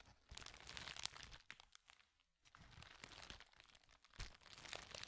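A hand-sized sheet of thin, flexible, clear plastic bubble wrap is held in front of a microphone and crumpled and crinkled with the fingers. Dense, bright crackling and crinkling comes in bursts, fades to near silence around the two-second mark, then resumes with sharper crunchy snaps toward the end.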